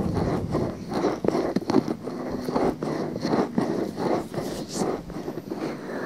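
Long painted nails scratch and rub inside and around a small, soft, pale pink silicone ear on a 3Dio-style binaural microphone. The result is a close, dense crackling and rustling, with the scratching swelling and fading in irregular strokes over about six seconds.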